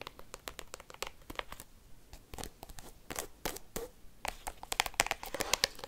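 Paperclips worn on fingertips rapidly tap and scratch across the plastic card sleeves of an open black binder album. The result is a fast stream of sharp, bright clicks and crinkly, scraping rustles, with little low end and almost no ring.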